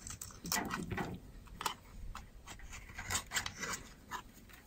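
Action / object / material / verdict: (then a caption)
scrape / bar of soap carved with a knife blade / soap / none. A utility knife blade repeatedly scrapes and carves curls off the edge of a solid, white, rounded bar of dry soap held in the hand. The cuts come as a rapid series of short, dry, crackly scrapes with bright, high hiss and little low end, each one ending almost at once.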